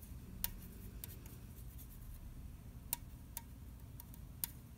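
Fingernails tap and scratch the bottom and side of an unopened red aluminium orange soda can held in the hand. Sparse, sharp, bright ticks with a faint short metallic ping stand out over a quiet, steady low rumble, with soft scratching between the taps.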